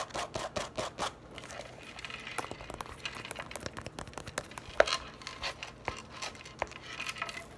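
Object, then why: Leather handbag flap. Long nails quickly tap and scratch the flap of a medium-size, hollow black purse of smooth leather or faux leather lying on a table. Rapid dry clicks and brushy scratching come in uneven bursts, with a bright, papery texture and little low end. One sharper, louder tap stands out near the middle.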